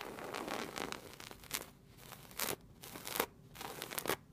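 Long red nails and fingertips scratch and rub across the brown and gold patterned woven upholstery of a padded fabric chair. Dry, bright scraping and rustling strokes come in quick bursts. Several sharper swipes stand out between softer, quieter rubbing.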